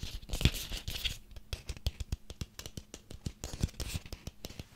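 A small ribbed orange pumpkin with a stem is held in the hands while nails scratch along its ribs and fingertips tap on it. Bright, dry scratching rasps mix with a quick run of short, dull low thumps that stop instantly with no ring.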